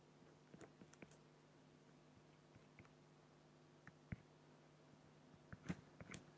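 A black fine-liner pen scratches strokes across a large, flat, solid acrylic glass sheet while the other hand rests at the left. Short, irregular scratches and dry clicks sound over a quiet, steady low hum, with a louder cluster of strokes near the end.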